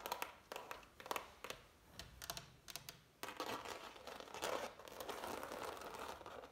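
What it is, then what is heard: Impasto oil painting on canvas. Long nails scratch and tap the thick, dried oil paint ridges of a framed impasto oil painting on canvas. Bright, crisp ticks and crinkly scraping rasps come in separate bursts, then blend into a denser, continuous scratching in the second half.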